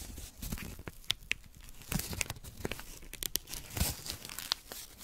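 A small strip of thin white paper, held in fingertips with long nails, is torn and crumpled close up. Dense, dry crinkling and ripping fill the clip, broken by many sharp, bright crackles and snaps.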